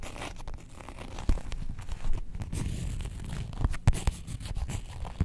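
Long nails scratch the printed surface of a faux leather Star Wars character wallet held upright in both hands. The result is a steady, low, muffled rasping with a few sharper scratchy accents and almost no bright top end.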